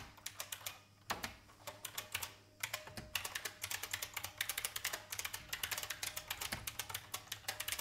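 A vintage beige IBM mechanical keyboard with plastic keycaps is typed on with the fingertips. Quick, bright clicky keystrokes come in uneven bursts with brief pauses, each one short and crisp with almost no low end.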